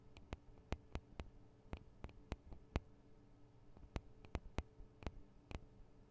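Long acrylic nails tap and scratch on the two small hollow microphone capsules of a Tascam DR-40 recorder, which have metal and plastic housings. Sharp, dry clicks ring only briefly over a faint low hum, with soft scratching between the taps.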